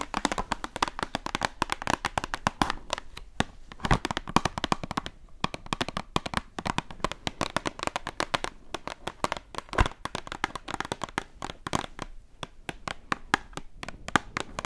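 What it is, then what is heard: Cardboard box tapped with fingernails. A small, hollow printed cardboard Schwarzkopf Men hair dye box, held up, is tapped and scratched on its front face with long acrylic nails. The sound is a rapid, dense stream of dry, crisp clicks and taps with no ring, centered around 1.2 kHz, mixed with soft scratching.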